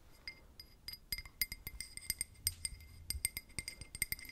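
A drinking glass is tapped with paper clip nails, producing rapid, light, bright clinks with short ringing tones that die away almost at once. The taps come quick and uneven, too dense to count individually, with no speech.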